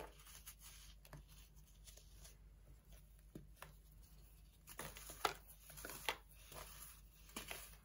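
A dried, compressed slab of baking soda, solid and brittle, rests on an orange plastic tray while chunks are broken off and crumbled between fingertips and short nails, and powder and crumbs fall back onto the slab. Quiet, bright crunching and gritty rubbing run throughout, with sharper cracks standing out near the end.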